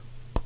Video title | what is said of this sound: LOTS VINTED PS2 SLIME + JEUX + MANETTE | on tape dessus tu vois c'est ça ça sonne bien plein